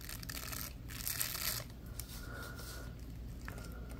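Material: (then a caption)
Plastic. Latex-gloved fingers scratch and flick the bristles and ridges of a small purple plastic bristle brush block. The result is a dry, continuous scratchy rasp with bright hissy bursts, loudest around the middle, over a steady low background hum.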